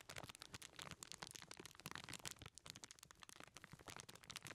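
Fingertips squeeze and crinkle the aluminum foil of a small foil-wrapped package held in both hands. Dense, bright crackling and crunching runs throughout, made of many sharp, short snaps with almost no ring.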